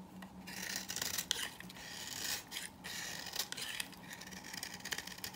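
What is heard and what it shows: A hand-sized bar of old, dry green soap is held in the hand while a green-handled knife scrapes and cuts into its surface, flaking off dry shavings and crumbs onto a table. The result is a continuous bright, raspy scraping broken by short crisp cuts, with brief pauses between strokes.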